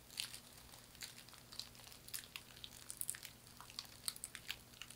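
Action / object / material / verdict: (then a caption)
scrape / woven straw hand fan / straw / none. A thin, flat hand fan of woven palm or straw in a herringbone weave is scratched with long nails and flexed or squeezed in both hands. It makes quiet, bright, dry crinkling and crackling, with many sharp short ticks over a faint steady low hum.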